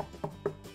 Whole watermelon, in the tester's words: can you hear how hollow that sounds